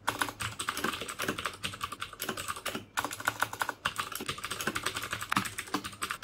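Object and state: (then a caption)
Plastic mechanical keyboard with clicky switches. Fingertips type on the keycaps of a black plastic mechanical keyboard with clicky Cherry MX Blue switches. Rapid, sharp, bright clicks come in quick bursts with brief pauses, and each keystroke dies away almost instantly.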